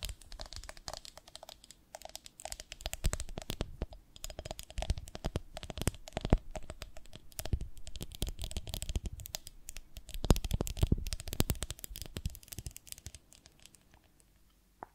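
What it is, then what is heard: Glass honey jar tapped and scratched. Long nails tap and scratch the sides of a medium, ribbed, beehive-shaped glass honey jar full of honey, with a glass lid and dipper. Quiet, dense bursts of quick clicks and scraping come in waves, with a heavy low-end thump and very short ring. The last few seconds fade out, ending with one final tap.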